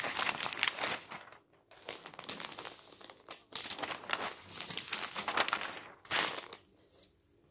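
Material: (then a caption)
Paper. A paper newspaper on a table has its thin newsprint pages flipped by hand and then smoothed down with the fingertips. Bright, dry crinkling and rustling comes in bursts, with short quiet gaps between them and almost no low end.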